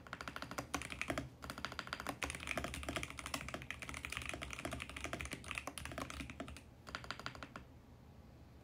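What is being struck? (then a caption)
Plastic mechanical keyboard. Both hands type fast with their fingertips on a VGN X68 compact mechanical keyboard, with purple, pink and mint plastic keycaps on a mint plastic case and switches under the keys in a hollow case. It makes a dense run of quick, bright plastic clacks with short thocky bottoms and a brief pause early on. The typing stops near the end, leaving a low, quiet background.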